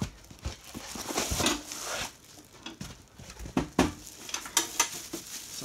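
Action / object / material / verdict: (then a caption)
knock / arcade cabinet case, metal / metal / none. Knocks on the case of a big, well-packaged Double Rocker suitcase-style arcade cabinet during unboxing give several sharp, bright raps with short ringing amid soft rustling. The body sounds like metal rather than plastic.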